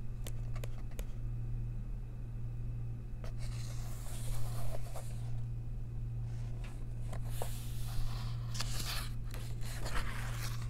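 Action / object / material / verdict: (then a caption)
scrape / paper coloring book page / paper / none. Long nails trace the text and the church drawing on the paper page of an open coloring book, making soft, bright scratching strokes. The scratching comes in irregular bursts over a steady low hum.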